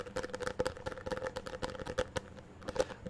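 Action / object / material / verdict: tap / small plastic box / plastic / none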